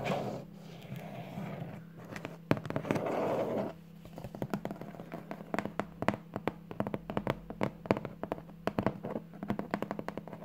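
Long polished nails and fingertips tap and scratch the flat top of a large, hollow, apparently closed corrugated cardboard shipping box with teal Amazon tape and a white label. Soft, rustling scratches come first, then a long run of quick, dry, hollow taps. A steady low hum sits underneath throughout.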